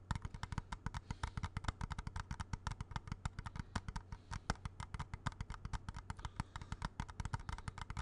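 A small hollow plastic video game cartridge is held in both hands while fingertips and nails tap quickly on its casing. Dozens of short, dry, hollow clicks follow one another rapidly, each dying out almost instantly over a steady low hum.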